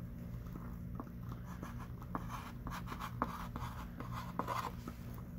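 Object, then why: Chalk stick on a small wooden-framed chalkboard. A hand writes with a thick stick of pink chalk on a small wooden-framed chalkboard lying flat. Short, dry scratching strokes tap and drag across the surface with bright edges, over a steady low hum at a quiet level.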